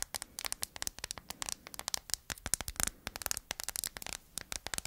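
Long acrylic nails tap and scratch the back of a phone held in the hands, in a thin, flat hard plastic case printed with a dreamcatcher, with metal-look corner bumpers and studs. About thirty quick, dry clicks and scrapes follow one another, bright and high-pitched with almost no low end, each dying away instantly.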